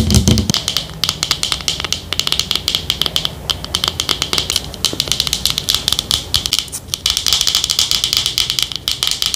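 Long nails rapidly tap and scratch the black screw lid and sides of a small, hollow white plastic Olay cream jar held in the hands. The result is a dense run of sharp, bright plastic clicks with a scratchy hiss and very little ring, plus a short low thump at the very start.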